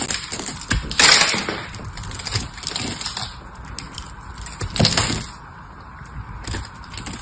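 A small metal blade carves into a solid blue bar of soap held in the hand, cracking off chips with crisp, bright crackling and scraping. Two louder snapping bursts stand out over a steady run of fine cutting sounds.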